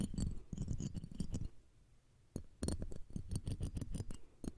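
Tweezers and a fine metal pick scrape across the metal mesh grille of the left one of two small cylindrical condenser microphones, while the second mic stands idle. Rapid, dry scratching and tapping bursts come through heavy and boomy at the low end, with faint bright edges. The scraping stops for about a second of near-silence, then resumes in a dense run of short scratches.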